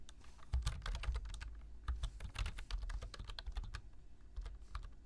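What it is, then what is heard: Plastic computer keyboard. Two hands type with their fingertips on a black plastic computer keyboard, tapping the keys in a quick, uneven stream. Each keystroke makes a short, bright click over a soft, low thud, and the taps come in bursts with brief pauses between them.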